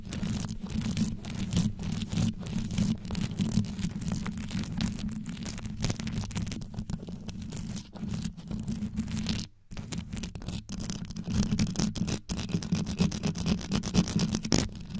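Long yellow nails grip around the grille of a microphone whose head is covered in rhinestones on a metal body, scratching it fast. The result is a dense, continuous stream of deep, low-heavy scratching and crackling, with a brief drop to near silence around the middle before the rapid scratching resumes.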